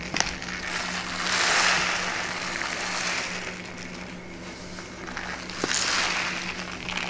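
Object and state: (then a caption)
Kraft paper bag. A brown kraft paper pouch with a label is held and tilted while the paper is crinkled, squeezed and scratched with long nails. Bright, crackling rustles swell and fade twice, with a few sharp clicks over a faint steady low hum.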